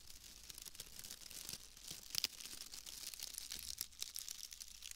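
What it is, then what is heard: Bundle of wood wool shreds. A pale bundle of wood wool shreds is squeezed and crinkled with the fingers, giving a quiet, steady, dry crackling and rustling. The sound is mostly high and bright, with little low end. A couple of slightly sharper snaps stand out near the middle.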